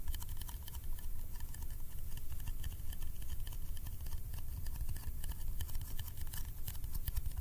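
A small round yellow metal candy tin is held close and tapped rapidly on its lid with the fingertips. The result is a steady patter of soft, low thuds with faint bright clicks on top, each tap dying away almost at once.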